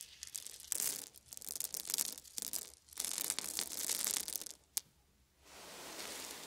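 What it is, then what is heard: Wooden beads. A pile of small round wooden beads on a fuzzy blanket is scooped up in cupped hands, poured, and rubbed together by fingertips. The result is bright, dense rattling and clicking in repeated bursts, with one sharp click near the end of the pours. After a short near-silence, a steady soft rubbing hiss follows.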